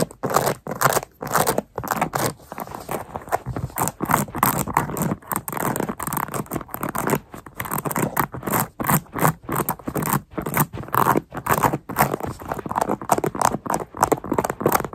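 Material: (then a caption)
Rubber. Long manicured nails scratch and tap the textured underside of a worn black Nike sneaker's white and grey rubber sole and white midsole while the lifted foot is held in both hands. Rapid bursts of dry, scratchy rasping and short taps, centered around 1 kHz with bright edges, come in quick clusters separated by brief silences.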